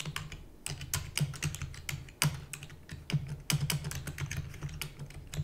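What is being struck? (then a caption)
Plastic computer keyboard. Fingertips with long natural nails type rapidly on a full-size black plastic computer keyboard with plastic keys and a hollow housing. The result is a fast, uneven stream of short, bright clicks and clacks over a steady low hum.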